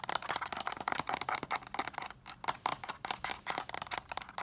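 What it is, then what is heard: Plastic DVD case tapped. A hollow, closed white plastic DVD case is tapped on its front, then its spine edge is fast-tapped with long nails. The result is a rapid, uneven run of dry, bright plastic clicks with almost no low end and no ring after each tap.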